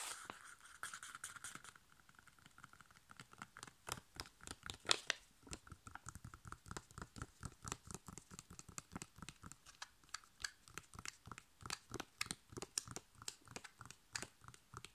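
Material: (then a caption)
Foil laminate. A flat, sealed, foil-laminated plastic sachet holding a sheet face mask is held and tapped rapidly on its back with long nails, then held edge-on. It makes a quick, uneven run of dozens of sharp, dry clicks with a bright, crinkly edge. The opening seconds have a brief hissy crinkle, and each tap stops at once with no ring.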